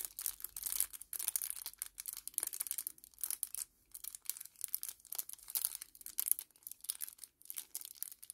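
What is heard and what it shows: A small, flat kraft paper sachet is held in both hands and crumpled and crinkled with the fingers. It makes quiet, bright, papery crackles that come in dense bursts with short pauses between them. The sound is almost all high-pitched rustle, with no low-end weight.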